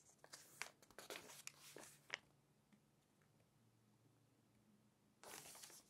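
Fingertips and long nails turn and brush the pages of an open glossy paper magazine resting on a table, making them crinkle. A cluster of bright, crisp crinkles and quick paper brushes fills the first two seconds, followed by a quiet stretch with only a faint low hum. A steady, bright paper rustle then returns near the end.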